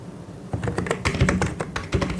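Both hands type quickly with their fingertips on the keycaps of a full-size white and grey plastic mechanical keyboard. After a quiet half-second, a rapid, uneven run of clacky keystrokes begins, each with a deep, thocky body and a short, bright tick on top. The keystrokes fade quickly between presses.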